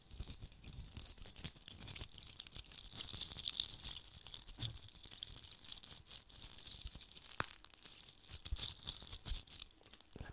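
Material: Glitter.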